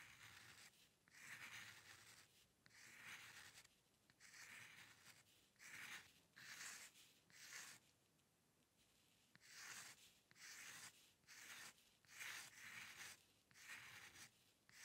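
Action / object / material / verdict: scrape / steel dip pen nib on a paper sheet / paper / none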